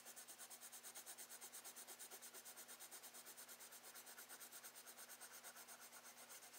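A wooden Prismacolor colored pencil, held in the fingertips, is rubbed and scratched across a brown kraft paper page of a spiral-bound sketchbook lying flat on a desk, with the solid pad backing the paper. Short shading strokes make a quiet, bright, hissy scratching that repeats steadily at about two strokes per second, over a faint constant low hum.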